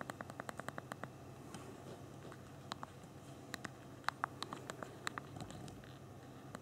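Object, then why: Small phone with plastic keyboard keys. Thumbs type rapidly on the backlit physical plastic keyboard of a small BlackBerry Q10 phone. A quick run of sharp, dry key clicks opens the clip, followed by scattered, irregular clicks with a bright tick to them. A faint, steady low background noise sits underneath throughout.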